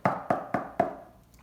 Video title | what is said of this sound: 5/15 Geometric shapes: cubes and cylinders | this is hollow there's empty space on the inside